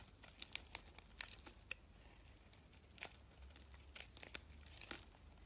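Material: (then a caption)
Soap. A box-cutter blade shaves crumbly flakes from a solid cream-colored soap bar with pink edges, held in the fingers. The result is a quiet run of crisp, bright scraping and crackling, with sharp high clicks as flakes break away, over a faint low hum.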